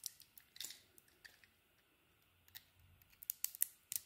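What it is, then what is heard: Bar of soap being shaved. A solid green bar of soap with a purple coating is shaved with a utility knife blade, giving a series of quiet, crisp, bright scraping clicks with faint gaps between them. The strokes are brief and dry, with no lingering ring, and cluster more densely toward the end.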